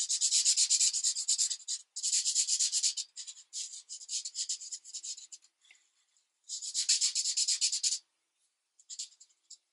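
A felt-tip marker is rubbed firmly over a thin coloring book page lying flat on a desk in quick repeated strokes. It makes a bright, dry, scratchy rubbing in rhythmic bursts, with short pauses and a few lighter strokes near the end.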